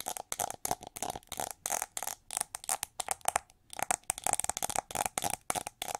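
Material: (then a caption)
Plastic. Long nails scratch and tap the ridged back of a gold plated plastic winged hair brush. A quick run of short, crisp taps and scrapes follows, each with a steady mid tone near 750 Hz and bright hissy edges. There is almost no low end and no ring after each hit, with a brief pause midway.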